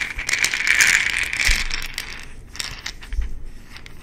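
An amber plastic supplement bottle with an orange plastic cap has its cap twisted and clicked, and the bottle is shaken so its contents rattle. A dense, bright rattle centered near 2.3 kHz builds and peaks in the first half. It then thins into scattered sharp clicks and taps with a few dull low thumps.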